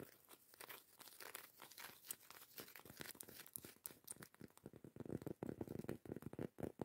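Long acrylic nails scratch the textured surface of a round, solid cork coaster lid. Quick, dry crunchy scrapes and crinkles come in a rapid stream, growing into louder, fuller strokes toward the end.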